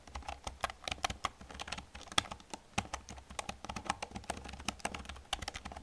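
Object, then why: Plastic computer keyboard. Fingertips with long nails type rapidly on an old black plastic computer keyboard, producing a steady run of short, crisp clicks and clacks. Each keystroke is bright and dry, ending almost instantly, with occasional louder taps standing out from the quieter patter.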